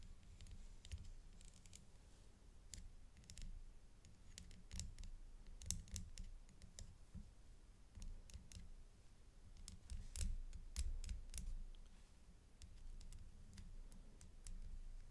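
A dark stick taps the rhinestone flower clusters on a metal-chain necklace, making quiet, irregular, bright clicks with almost no ring. A soft low rumble runs underneath throughout.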